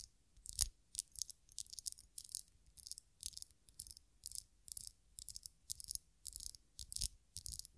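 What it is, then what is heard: Glass perfume bottle. Long nails tap and scratch across a small glass perfume bottle, partly filled with amber liquid and topped with a black cap, held in the hands. Quick, bright clicking and scraping bursts come in steady clusters, each dying almost instantly, with a faint low thump under the sharper taps.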